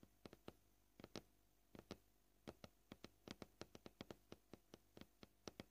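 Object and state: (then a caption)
Plastic cutting board. Short painted nails tap on a flat, solid white plastic cutting board at an uneven, varying pace. Each tap is quiet, dry and clicky, with a sharp bright edge and almost no ring, over a faint steady low hum.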